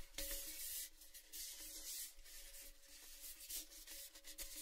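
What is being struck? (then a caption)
Painted metal tin. Fingertips rub and scratch the side of an empty, hollow, red painted Baileys metal gift tin held in both hands. Bright, papery scratching comes in uneven bursts, with a faint metallic ring near 560 Hz that lingers briefly under each stroke.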